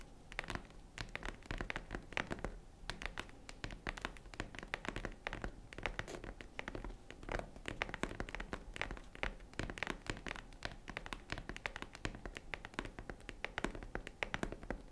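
Fingernails tap and scratch the front of a tan faux-leather zippered jewelry case near the zipper, close up. Quiet, rapid dry clicks and scrapes run continuously for the whole clip, each one short with no ring, over a low steady background hum.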